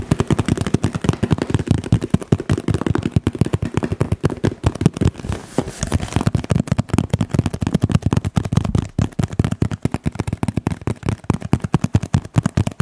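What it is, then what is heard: Cardboard box tapped. A large printed cardboard Pampers diaper box, hollow and likely full of packaged diapers, is held up in both hands and tapped rapidly on its side with the fingertips. The result is a dense, continuous stream of dull, low, hollow thuds with very short, dry decays, easing briefly about midway before picking back up.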